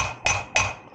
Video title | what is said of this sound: How to change wheel bearings on an Indespension trailer #roadside #repair #trailer #video #fishing | just listen for the note change as you're tapping this in. There we go, you can hear the difference.